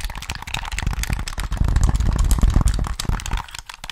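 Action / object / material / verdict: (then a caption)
tap / plastic game controller / plastic / none. Fingertips tap and click the buttons and triggers of a hollow black plastic Sony PS3 controller held in both hands. A dense, rapid patter of short clicks and taps rides on a low, hollow thump, growing busiest in the middle before thinning out toward the end.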